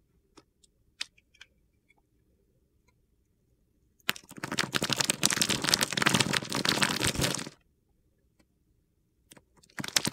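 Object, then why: Bar of soap. A solid green Palmolive bar of soap held in the hand has its edges shaved with a utility knife blade, dropping dry crumbs. Scattered sharp ticks and clicks give way to about three and a half seconds of dense, gritty, crunchy scraping that is bright in the high frequencies, then a few more clicks and the start of another scrape.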